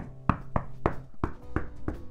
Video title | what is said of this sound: Race Truck 7.5t Conversion. Days 3 & 4. More Holy Moley. #TwoWolves #camperconversion #leylandtruck | how do you know it sounds solid listen to that because i know that sound this is solid